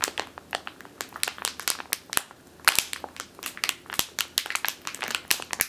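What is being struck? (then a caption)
Plastic bag filled with flour. Long teal nails crush and scratch a medium clear plastic bag with a purple label, full of flour or grain. A rapid, uneven series of bright, dry crinkles and crunches follows, each snapping off almost instantly with almost no low end.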